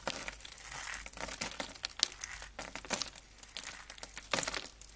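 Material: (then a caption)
Soap. Bare hands scoop, squeeze and rub a large pile of small, solid shavings of dried yellow and pink soap on a burlap mat, crushing and crunching the flakes. The result is a quiet but dense, bright, crackling crunch with almost no low end, rising in short rustling bursts as the flakes are worked.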